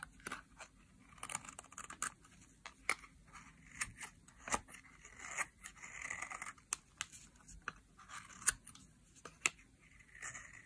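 A solid green dry soap bar is scraped and shaved with a metal blade that pushes flakes off its edge. Quiet, bright scraping and crisp crunching strokes repeat throughout, with many sharp clicks and snaps as flakes break away.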